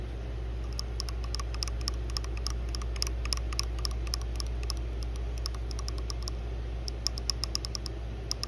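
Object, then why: Small plastic wall charger. Long blue nails tap and click on the casing of a small white plastic phone wall charger with metal prongs, held in the hand over pink fabric. Many quick, bright, short clicks come in irregular bursts over a steady low hum.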